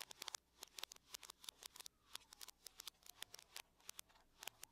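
Long nails tap and scratch the lid of a closed silver aluminum laptop. About 26 quiet, sharp, bright clicks come in quick irregular bursts, each dying almost instantly. Faint scratching fills the gaps between them.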